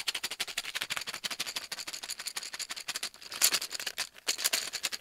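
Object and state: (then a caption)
Cardboard tube. Fingertips and nails tap and scratch rapidly on the side of a large, hollow, brown cardboard tube held in the hand. About thirty quick, dry, bright taps come in a steady run, with no low end and almost no ring. Near the end, louder, hissy scratching bursts break in.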